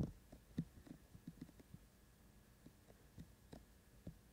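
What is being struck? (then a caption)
Silicone ears of a binaural microphone. Fingertips of both hands tap steadily on both white silicone ears of a binaural microphone. The result is a series of soft, muffled, low thumps with short decays over a faint steady hum.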